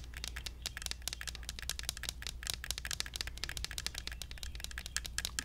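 A small, hollow plastic toy cactus in an orange plastic pot is held close and tapped rapidly with fingertips and nails. The result is a dense stream of short, bright, clicky taps that die away almost instantly, over a steady low hum.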